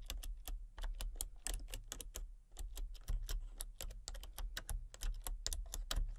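Fingertips with long painted nails type rapidly on a full-size backlit plastic RGB computer keyboard with hollow key switches and colour-cycling lights. Quick, dry, bright clacks and taps come in an uneven stream with no ringing, over a steady low hum.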